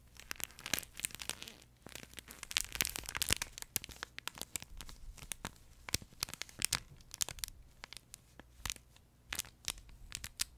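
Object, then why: Plush fabric pet toy with crinkle insert. A yellow plush duck pet toy with a crinkle insert is scratched and squeezed with nails and fingertips. The result is dense, bright crinkling and crackling in rapid, uneven bursts, with brief pauses between flurries and a faint low steady hum underneath.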